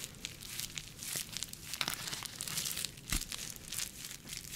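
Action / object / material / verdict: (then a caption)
scrape / plastic bubble packaging sleeve / plastic / none. An empty, clear, flexible plastic bubble-textured packaging sleeve is held in one hand and scratched and squeezed with long nails. The result is a steady stream of bright, dense crinkling and crackling, with quick sharp ticks and faint pops scattered throughout.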